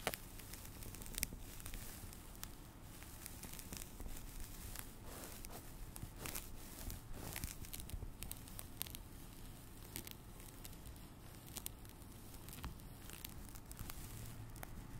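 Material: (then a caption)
Foam. A small rectangular blue porous foam sponge, held in one hand close to the microphone, is scratched and tapped with long dark-painted fingernails. The result is a quiet, steady, crackly rustle with a soft, low-heavy body and frequent short, bright clicks and scratches throughout.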